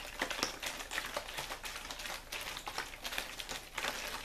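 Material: Plastic.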